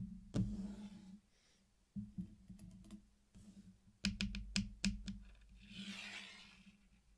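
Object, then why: Candy-coated chocolates. Fingertips tap and rub along the rim of a flat circular mosaic made of many small, solid candy-coated chocolates laid out on a black surface. Sharp, rattly clicks come in scattered bursts, including a quick cluster in the middle, over a steady low hum. A soft, bright rubbing swish follows near the end.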